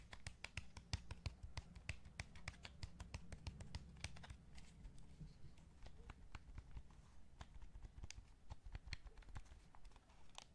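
Fingertips tap rapidly and steadily on the hollow shell of a light blue and black plastic PS5 DualSense controller held in one hand. Each tap is a short, sharp, dry click with almost no ring, and the clicks reach into bright highs. Underneath them runs a steady low rumble.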